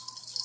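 Puffed (fried) rice stick noodles being handled for a noodle salad give a dry, crisp rattling crunch, with about four quick crackles standing out in half a second. The sound is bright and high-pitched, showing the noodles are crispy as intended.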